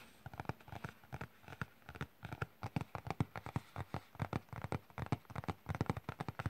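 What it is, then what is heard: Cardboard box tapped. Fingertips and nails tap rapidly across the printed keyboard image on a flat printed cardboard keyboard box held on the lap. About three dozen quick, dull, hollow taps sit mostly in the low range, each dying away almost at once, in an uneven, busy rhythm.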